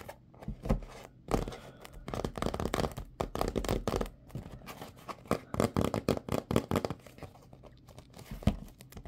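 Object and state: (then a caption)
Cardboard glove box. A hollow, printed cardboard box of latex gloves is held in the hands and tapped and scratched with fingernails. The clip is a dense run of dry, dull taps and rough scratching bursts with no ring, heavier in the low end, with a few louder taps standing out.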